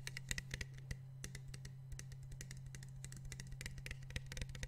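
Fingertips tap the blue cap and sides of a small, clear PET water bottle, partly filled with water and held in one hand. The result is a rapid, irregular series of short, dry, bright clicks over a steady low hum.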